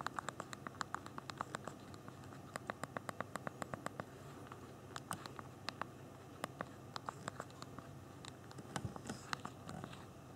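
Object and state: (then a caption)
Plastic phone keyboard being typed on. Thumbs type on the hard plastic physical keyboard of a small BlackBerry Q10 phone held in both hands. A steady run of short, sharp, bright clicks is heard in irregular bursts, with brief pauses between them, over a faint low background hiss.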